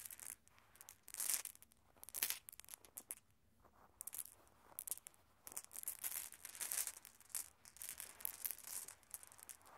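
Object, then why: Small glass marbles on carpet. A loose group of small solid glass marbles on red carpet is swept and pushed together by bare hands so they click against each other. Quiet bursts of bright, rapid clicking mix with a soft, hissy rubbing over the carpet, with brief pauses between sweeps. The sound is almost all high and crisp, with very little low end.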